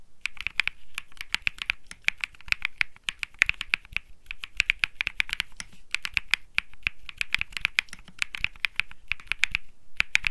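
Fingertips type on the plastic keycaps of a cream Think 6.5 mechanical keyboard with Bsun Lollipop switches. The result is rapid bursts of sharp, dry, clacky keystrokes separated by brief pauses. Each stroke is crisp and bright, with a tonal tick around 2.4 kHz and almost no ring after it.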